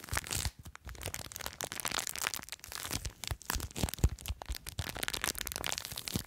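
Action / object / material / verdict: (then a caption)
scrape / plastic bag filled with foam beads / plastic, foam / none. Long nails scratch and crinkle a small clear plastic bag full of blue foam beads. The result is a dense, continuous crackling and crinkling, full of short, sharp broadband ticks with a bright top end and a soft low rumble underneath. The brief pops die away almost at once.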